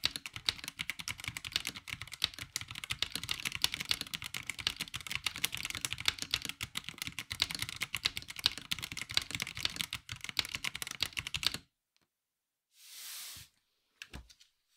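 A 65% mechanical keyboard with a black plastic case and ABS keycaps is typed on rapidly with the fingertips of both hands. It produces a dense run of sharp, bright, clicky keystrokes for about eleven and a half seconds. After the hands come to rest, a short airy hiss and a couple of final light taps follow.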